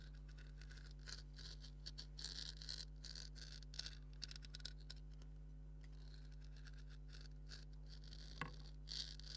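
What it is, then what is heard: Leather maraca being scratched. Fingernails scratch along the stitching and surface of a hollow, black stitched leather maraca head, making soft, bright, dry rasps in short bursts. A steady low hum runs underneath throughout, and one sharper, louder scratch stands out near the end.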